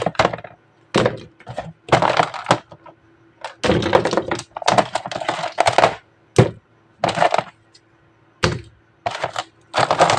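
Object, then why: Miniature animal figures. Miniature jungle animal figures are tapped, producing clusters of quick, dry clicks and taps. The bursts are separated by short silences and die away almost instantly.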